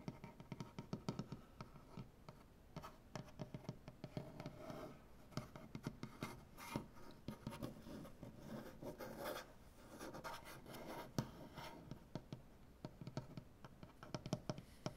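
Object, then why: Maple butcher-block tabletop scratched with fingernails. One hand with dark-painted fingernails scratches along a large, solid, light maple butcher-block tabletop. Quiet, dry scratching and rubbing is punctuated by many short, sharp clicks and taps of the nails on the wood. The sound is mostly low and woody with very little high-end sparkle, and each tap dies away almost at once.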